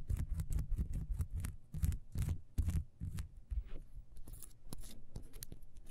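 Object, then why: Ribbed beeswax candle. Long nails scratch rapidly along the grooves of a solid, ribbed, beehive-shaped beeswax candle, first standing on a table and then held. It makes quick, uneven bursts of dry, bright scratching over soft, low thumps, with no ring between strokes.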